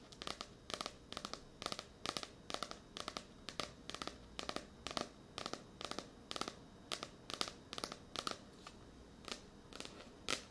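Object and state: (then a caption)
Paperback book. Long nails tap and scratch a blue *Tears of a Tiger* paperback, a solid paper book with a glossy card cover, held close to a microphone. Crisp, bright clicks come in quick, regularly spaced bursts over a soft scratchy rustle, each dying away almost instantly with a papery ring near 1.2 kHz and very little low end.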